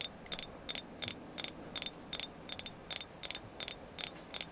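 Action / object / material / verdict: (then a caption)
tap / carved agate figure / agate / none. A carved moon goddess figure named as agate is tapped in a steady rhythm, about fourteen quick, bright clicks with a high ringing tone. Each tap stops almost at once over a quiet background.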